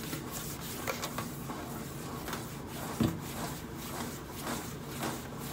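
Long acrylic nails scratch and rub in sweeping strokes across the flat stainless steel side panel of a hollow microwave, making a soft, steady rasping hiss with faint low resonance. One sharper tap stands out near the middle.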